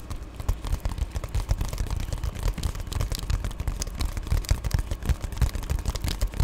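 Long painted nails scratch and tap on an Amazon Prime padded poly bubble mailer held close. A dense run of soft, dull thumps and brushing scratches blends with faint bright crinkly crackle, each contact dying away almost instantly.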